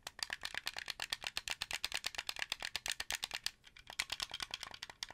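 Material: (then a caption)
Plastic. Fingertips rapidly tap and click the buttons and shell of a translucent blue hollow plastic Xbox 360 controller, about 35 sharp, dry clicks. The clicks are bright with almost no low end and die away instantly, with a brief pause before the tapping resumes.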